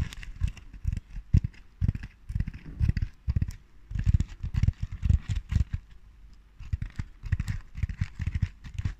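Long dark nails scratch and tap a large round Christmas ball covered in red and natural burlap with lace trim. Dull low thumps mix with dry, bright scratchy rasps in irregular bursts. Two brief quieter pauses break up the steady fabric scratching.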